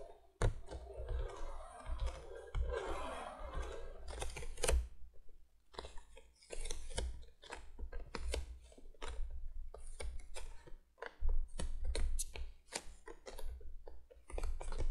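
Long fingernails of both hands tap and scratch the top of a printed cardboard box lying flat on a table. Quick, dry clicks are mixed with stretches of rough, brushing scratches, over a steady low hum.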